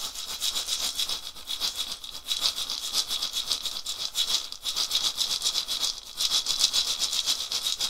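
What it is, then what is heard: Dried gourd rattle. A hollow, carved, dried gourd rattle on a wooden handle is shaken back and forth by one hand. It makes a steady stream of dry, bright, hissing rattle pulses with almost no low end. The loudness swells and dips with each shake.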